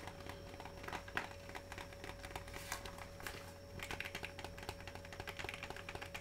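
A small, rectangular Cookie Dough Bites candy box made of cardboard with glossy plastic wrap, apparently full, is held in both hands and tapped and crinkled with fingertips and short nails. A steady run of quick, soft, dry taps and bright crinkles continues over a constant low hum and a faint steady tone.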